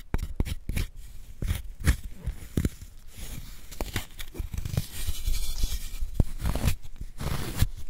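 A wooden spoon scrapes powder out of the hollow of a solid white gym chalk block held in a gloved hand. Dry, crumbly scraping and crunching come in quick, uneven bursts, each breaking off sharply with a low, dull weight and little brightness.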